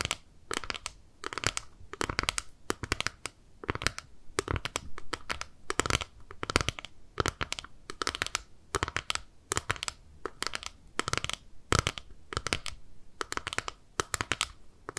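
A small, flat, clear plastic eyeshadow palette is held in both hands while long nails tap and scratch its lid and edges. The result is a steady stream of quick, sharp, bright clicks and scratchy ticks with almost no ring, set against a quiet background.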